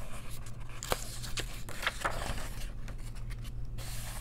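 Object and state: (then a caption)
Paper coloring book pages being turned. Long nails flip and hold the pages of an open paper coloring book, giving soft page-turning rustles and light scratches. A few brief, bright papery crackles stand out over a steady low hum.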